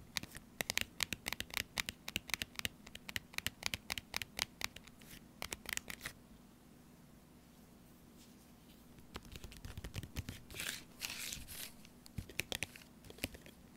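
Fingernails scratch and lightly crinkle the edges and front of a small, sealed, full laminated foil-plastic tuna pouch. Rapid, bright, dry scratching ticks fill the first six seconds over a faint steady low hum. After a quiet pause, softer crinkling rustles follow.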